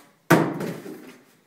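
A heavy packed cardboard carton with a heavy item inside is dropped during a drop test, landing with a sudden, heavy thud that fades out over about a second. The carton is dropped on its side and on its head, and the contents inside do not move.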